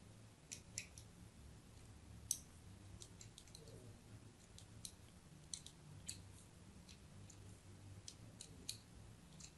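A thin metal blade scratches diagonal grooves into the surface of a hand-sized solid white bar of soap held in the hand. Quiet, sharp, bright clicking scrapes come in an irregular series over a steady low hum, each one cut off almost at once.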